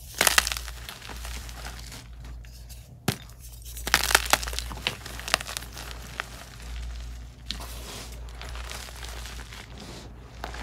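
A pile of loose, soft, crumbly white gym chalk (magnesium carbonate) is squeezed, crushed and rubbed between the fingertips and short nails of both hands, and the crumbs fall back onto the pile. Dry, bright crunching and crackling come in bursts, with sharp little snaps over a steady low hum.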